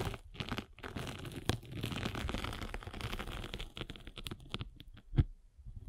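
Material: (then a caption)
Foam. A spiked derma roller is rolled across a rectangular abrasive sanding sponge with a blue foam layer, making a dense, crunchy crinkling texture with a heavy low rumble. The rolling comes in bursts separated by brief pauses, with a sharper, louder crack near the end.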